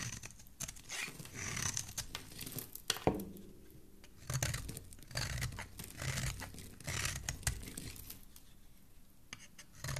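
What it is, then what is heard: Bar soap being shaved. A solid pink oval bar of soap held in the hand has its edges shaved with a metal utility blade, shavings piling up below. Dry, scraping, tearing strokes come in uneven bursts with bright crackly texture over a low rumble, pausing briefly between cuts.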